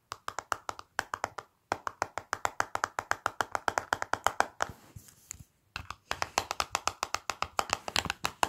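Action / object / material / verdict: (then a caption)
tap / plastic cosmetic palette case / plastic / none. Fingertips with long black nails tap quickly across the clear plastic lid of a small flat Revlon lip powder palette in a black plastic case, lying on a white surface. Dense streams of short, dry, bright clicks run almost continuously, broken by a brief softer rustling stretch near the middle before the tapping resumes.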